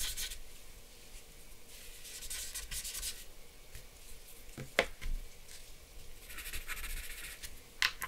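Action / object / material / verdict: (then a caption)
scrape / drawing paper with charcoal and blending stump / paper / none. A grey blending stump held in the fingers rubs and scratches across a flat sheet of drawing paper bearing a charcoal portrait, which lies on a wooden desk. Soft, bright, hissy rubbing strokes come in waves over a low background, broken by a couple of sharp, brief scratches or ticks near the middle and the end.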